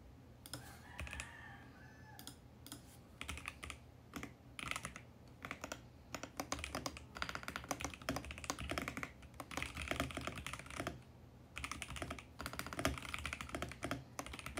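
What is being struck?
Mechanical keyboard with plastic keycaps.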